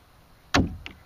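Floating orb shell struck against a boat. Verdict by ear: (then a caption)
Hollow. A black floating orb, a hollow shell, is struck against a boat. One sharp, loud knock rings out briefly with a low, hollow tone, then a fainter second tap follows.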